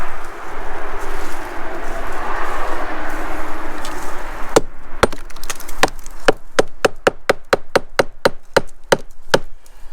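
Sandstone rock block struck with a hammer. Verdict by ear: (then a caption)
Hollow. A hammer strikes a sandstone outcrop block that is detached from the surrounding rock, with a fracture running up and around it. After about four and a half seconds of steady background noise, a quickening series of sharp, short strikes rings out, each with a brief hollow tone near 440 Hz. The hollow sound shows the block is loose underneath rather than solid rock.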